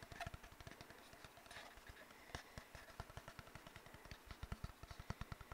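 Fingertips and nails tap and rub an empty, hollow brown cardboard tube, producing a rapid, uneven run of soft, hollow low thumps. Bright, dry scratching and clicking from the nails sits over the thumps, and each tap dies away almost at once.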